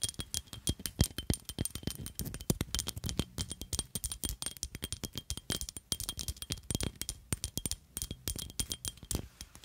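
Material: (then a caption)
Glass. A small black glittery glass perfume bottle with a black plastic cap is held in one hand and tapped and scratched with long nails. The result is a fast, continuous stream of short, sharp clicks and taps with scratchy bursts between them. Each tap dies away almost immediately.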